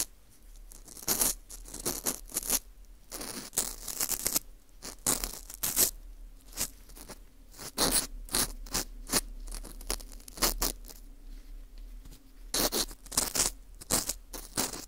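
A green plastic screw earpick scrapes and twists inside the hole of a small, hollow ring of dry, porous baked wheat gluten (fu) held in a gloved hand. Bursts of dry, crunchy, bright scratching come in uneven clusters, separated by quiet gaps. Each burst is short, with almost no ring after it.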